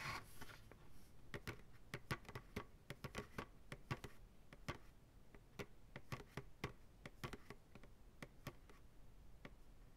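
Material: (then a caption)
Plastic. Fingertips slowly tap the sides of a large, hollow, empty white plastic ice cream pail resting upside down on a lap. The result is a quiet, irregular series of short, hollow taps with a low thud around 125 Hz, crisp bright clicks on top, and almost no ring between them.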